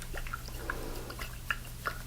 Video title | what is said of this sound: *BINAURAL ASMR* Aftershave sounds (Tapping, liquids, spraying & Soft Spoken) | it's very, very full, so it's some really interesting liquid sounds for you